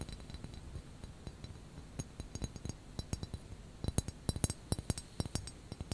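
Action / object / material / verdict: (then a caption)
tap / small ceramic teapot handle / ceramic / none. Long nails tap and click on the white ceramic handle of a small, hollow white ceramic teapot covered by a knitted cozy, held close. The result is an irregular run of quick, bright clinks over a soft low body, each dying out almost instantly. The taps grow sharper and louder in the second half.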